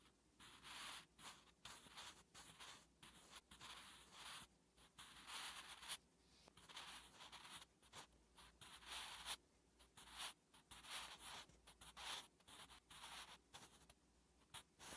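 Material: Paper.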